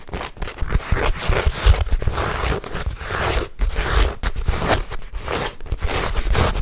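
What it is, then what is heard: Empty leather handbag. Fingertips and nails scratch and tap a small, hollow, apparently empty silver snakeskin-embossed leather handbag with top handles and a metal logo plate. The result is a steady, dense, dry scraping texture broken by soft, low, muffled thumps that die away almost at once.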